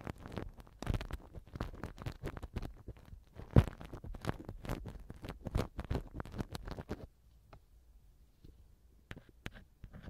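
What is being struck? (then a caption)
Silicone ear pick on a silicone microphone ear cover. A black silicone ear pick held by hand scrapes the right silicone ear cover of a TASCAM mic. This produces dense, muffled, low-pitched rubbing and crackling thumps for about seven seconds, with one louder bump near the middle. The scraping then thins to a few quiet, scattered taps.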